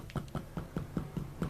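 A metal PA amplifier airbox lined with sound-deadening material is tapped seven times, giving dull, low thuds around 170 Hz. Each tap dies away almost at once, with little ring, so the box sounds well damped.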